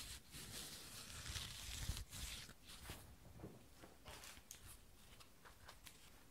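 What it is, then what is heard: Jute rope espadrille sole being scratched. Long painted nails scratch along the braided jute rope wedge sole of an espadrille sandal with a brown leather strap, held in both hands. Dry, bright rasping strokes rise and fade in an uneven rhythm, louder at first and then softer toward the end, over a faint low rumble.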